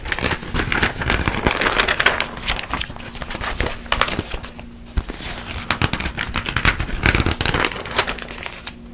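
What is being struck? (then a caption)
Glossy coated-paper magazine. A glossy paper magazine is held open while fingertips and long nails turn and flick its thin coated pages. Crisp, bright crinkling and rustling swells and fades with each turn, with sharp flicks and a faint steady low hum underneath.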